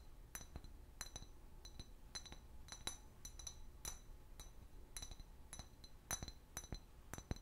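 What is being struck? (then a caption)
Large clear glass bottle. Long fingernails tap a large, hollow, empty clear glass liquor bottle with a paper label. The result is a quick, irregular series of sharp, bright clinks with a thin high ring that dies away almost at once, over a faint low hum.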